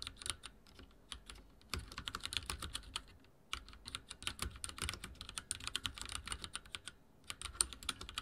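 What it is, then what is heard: Plastic mechanical keyboard being typed on. Fast typing on a full-size backlit mechanical keyboard with dark plastic keycaps and linear switches, set on a wooden desk, with the fingertips of both hands pressing the keys. A quick run of short, bright plastic taps with a soft low thud under them, broken by two brief pauses, each tap dying away almost at once.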